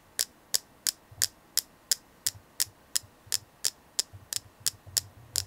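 Steady ASMR tapping on a selenite crystal gives sixteen crisp, bright clicks at about three per second. Each tap is very short with almost no ring, and a faint low hum sits underneath.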